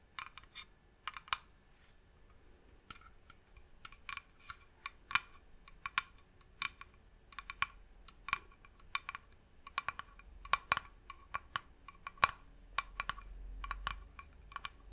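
Long nails tap on the top surface of a medium-sized, hollow, varnished wooden box. About 34 sharp, dry clicks come in an irregular rhythm, centered around 1.1 kHz with bright upper edges. Each tap dies away almost instantly over a quiet, low background.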